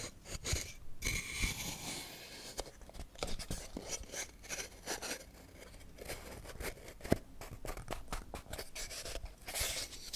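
A small hollow wooden toy camera box with a burnt-finish surface and wooden dials, held in both hands, is tapped and scratched with long painted nails. The result is a busy run of short, dry taps and scratchy crunching strokes with no ringing, mixing a low hollow knock with bright, papery scraping.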